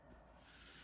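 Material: Nothing is struck.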